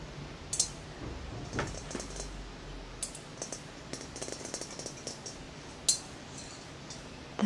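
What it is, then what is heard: Glass plasma ball. A large, hollow, clear glass plasma ball with a central electrode, held in a lap, is tapped rapidly with the fingertips and short nails of both hands. The result is a quiet, irregular patter of light clicks and taps, with a few sharper, brighter taps standing out against a low, soft background. Each tap dies away almost at once.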